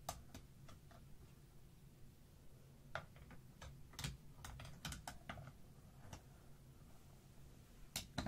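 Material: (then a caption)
Plastic. Two thin dark sticks tap across a tray of many plastic felt-tip markers laid side by side, giving solid, not hollow-sounding, clicky tick-tock taps. The sharp, bright clicks come in irregular bursts over a steady low background rumble and stop almost instantly after each hit.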